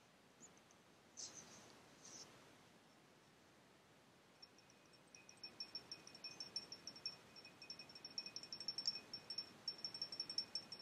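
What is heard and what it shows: A small, hollow, faceted clear glass tumbler, partly filled with water and held in the palm, is tapped with fingertips and nails while a second glass sits untouched on the table. After a few faint, scattered touches, a quick, irregular run of light taps begins, each giving a brief, high, chime-like ring with a faint lower tone beneath. The sound stays quiet and thin throughout.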